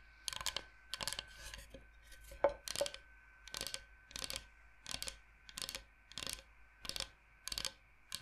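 Long nails tap and scratch across a large, flat, solid bamboo cutting board shaped like Michigan. The result is a steady run of bright, crisp clicking bursts, each with a faint woody tone and a very quick decay, over a low, steady background hum.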